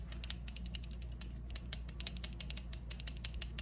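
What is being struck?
Small liquid cosmetic bottle with mixing beads.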